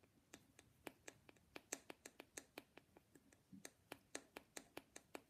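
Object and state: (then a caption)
Painted wooden nesting doll. Long glittery painted nails, on black-gloved hands, tap and scratch a small hollow lacquered wooden matryoshka nesting doll with a teal dotted headscarf, while other dolls sit untouched nearby. About 21 crisp, bright clicks sound in an uneven rhythm, each dying away almost instantly, with a faint scratchy rustle between them.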